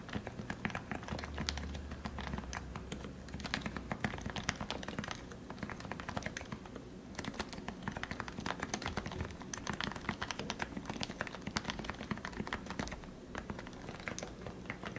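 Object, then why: Plastic Topre keyboard. Fingertips type continuously on a plastic Leopold FC660C Topre keyboard with 45g switches that have been lubricated, heard close-up. A steady stream of soft, muted, short clacks and thocks runs throughout, with a low, warm body and only a little bright click.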